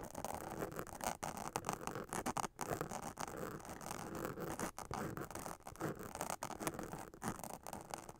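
Long acrylic nails scratch the black glitter spiderweb fabric of a witch hat up close. They make a steady, dense scratching and rasping with quick strokes and brief pauses. The texture is gritty and mid-range.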